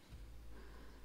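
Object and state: Nothing is struck.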